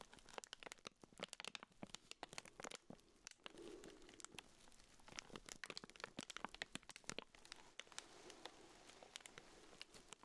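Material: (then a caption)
Plastic. A small pink urinal deodorizer cake in a clear plastic wrapper is held in black-gloved hands while the fingertips scratch and crinkle the loose plastic. Dense, bright crackles and sharp clicks come in uneven bursts, with brief softer rustling stretches between them, all at a quiet level.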